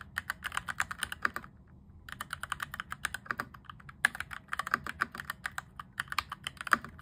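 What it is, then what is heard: Plastic mechanical keyboard. Fingertips type rapidly on a cheap RGB-backlit mechanical keyboard with cream and grey plastic keycaps and an orange plastic frame, modded from clicky toward thocky. About forty short, dry keystrokes with a bright clack around 1.3 kHz come in quick bursts, with a brief pause near the two-second mark.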